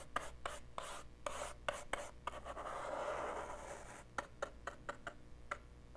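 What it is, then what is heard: Plastic portable cassette player. A small, dark, hollow plastic portable cassette player is held in one hand and brushed and scratched with the tip of a green-handled paintbrush. Quiet, sharp scratchy ticks come in an uneven run, giving way to a longer continuous rubbing swish in the middle. Then more separate dry scratches follow, with a soft hollow plastic tone.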